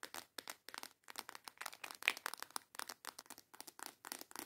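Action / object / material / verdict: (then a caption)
tap / small plastic box of false nail tips / plastic / none. Long yellow acrylic nails tap and scratch on a small transparent plastic box with snap clasps, full of false nail tips. The result is a quick run of dry, bright clicks, ticks and scratchy rattles in short clusters, with no low end and no ring after each hit.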